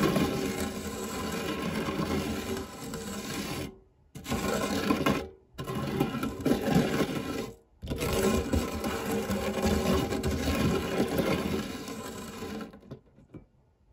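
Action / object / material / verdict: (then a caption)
scrape / metal tart tin and silicone spatula / metal / none. A silicone spatula rubs slowly across the dark, textured nonstick base of a shallow, round fluted metal tart tin that is empty apart from crumbs. The result is a quiet, continuous, gritty scraping, broken by three brief pauses, that fades out near the end.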